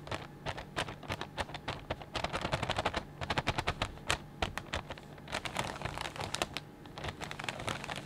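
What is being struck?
Plastic bag of potato chips.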